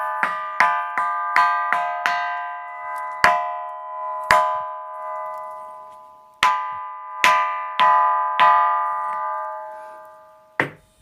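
The Pedra do Sino, a rock boulder on a hill near Brejinho de Fátima in Luís Correia, Piauí, is struck 13 times by a local guide at an uneven pace. Each strike rings like a church bell: a sharp metallic onset, then a sustained tone near 1 kHz with bright overtones that fade slowly between hits. Of the rocks there, only this one makes this ringing sound.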